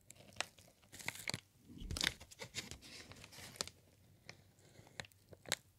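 A sheet of green plastic air-pillow packing material with hollow, air-filled bubbles is held in both hands and squeezed and crinkled with the fingertips. The sound is a soft, bright crinkling and crunching, broken by sharp, short crackles that stop dead with no ring.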